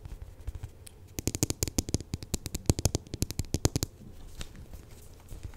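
Long nails tap and scratch close to the microphone on the glossy coated surface of a large purple polyurethane foam squishy narwhal toy. Faint scratching gives way to a dense run of sharp, quick clicky taps with bright, crisp tops over a soft low thump, then settles back into quieter scratching and rubbing.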